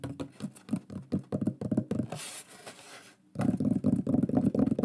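A large, flat, solid wooden shield plaque with a burned pyrography lion design is held upright and tapped rapidly with fingertips and nails. It produces quick, dull, woody knocks centered in the low mids with very short decay. A brief softer, scratchy stretch in the middle is followed by a resumed burst of fast tapping.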